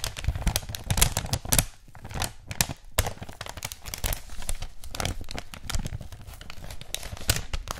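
A thin white wrapping paper sheet with a red floral print is held in both hands, bent, crinkled and rubbed with the fingers. It makes a steady run of dry crinkling and tearing-like crackles, with a soft low rustle under them and sharp, bright spikes throughout.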